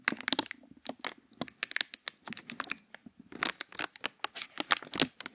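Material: Plastic.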